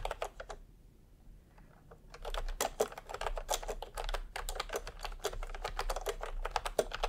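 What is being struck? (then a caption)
Plastic keyboard with round keycaps. Fingertips type on a full-size retro keyboard with a peach plastic case and round typewriter-style plastic keycaps. A short burst of clicky taps gives way to a near-silent pause, then rapid, continuous typing resumes. The clacks are crisp and bright with a low hollow undertone.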